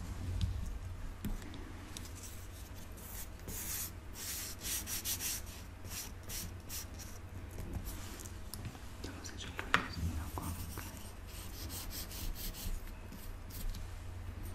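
A solid log of moulded pink kinetic sand, about 20 cm long, rests on a table while fingertips press and smooth it, and then a thin wooden stick pokes and scrapes into its surface. Soft, gritty rubbing and bright, crumbly scratching bursts sit over a steady low rumble, with one sharper scrape standing out near the middle.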